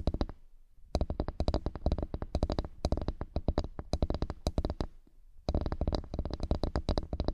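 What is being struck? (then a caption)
Flat bamboo board. Fingertips and nails tap and scratch across the grain of a flat bamboo wood board in rapid bursts of short, dry, low-pitched taps, with brief pauses near the start and around five seconds. Each tap dies away almost instantly, leaving a dull, hollow knocking.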